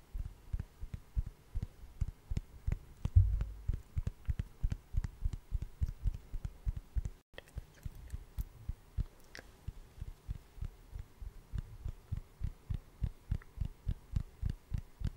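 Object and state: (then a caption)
Wooden log slice. A hand-sized solid wood slice with a bark rim, held close to the microphone, is tapped and scratched with long orange acrylic nails. About fifty quick, muffled taps land in a steady rhythm, each a deep, dull thud with almost no ring and faint bright clicks on top. One louder knock comes near the three-second mark, and a brief silence falls around seven seconds before the tapping resumes.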